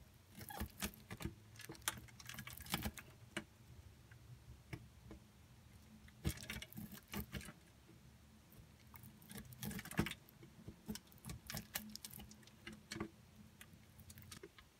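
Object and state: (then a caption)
Bar soap grated on a metal grater. A pink and green bar of soap is scraped through the coarse holes of a steel box grater, and many curled shavings pile up inside. Quick rasping strokes come in bursts with bright scratchy edges over a low hum, pausing between passes.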